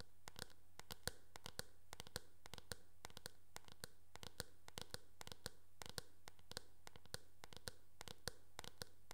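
Long nails tap and scratch across the hollow back shell of a teal, hard plastic oval hairbrush. Dozens of quiet, sharp clicks with bright edges land in quick, irregular succession over a faint, steady low hum.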